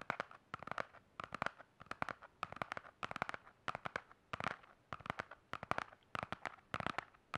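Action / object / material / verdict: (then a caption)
tap / hardcover spiral notebook / cardboard / none. A black hardcover spiral notebook is held in both hands while fingernails tap and scratch quickly across its hard cover. The result is quiet, dry, sharp clicks that come in rapid bursts and clusters, with a bright ticking tone around 1 kHz and little low end.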